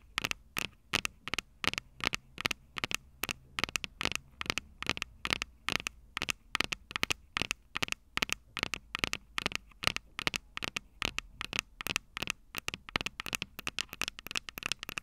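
Long purple nails of both hands tap and scratch the small metal X/Y microphone capsules on top of a plastic Tascam DR-05 recorder, picked up by those same capsules. About 59 sharp, dry clicks follow in quick, uneven succession, ringing bright near 2.8 kHz with almost no low end and no decay between them. The taps speed up toward the end, with faint scratchy crackle between them.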